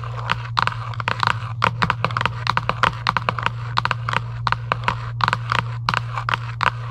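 Long acrylic nails scratch and tap quickly across a hollow Giant UNO cardboard game box lying flat. The result is a rapid series of short, dry scratches and clicks centered near 1 kHz with little ring, over a steady low hum.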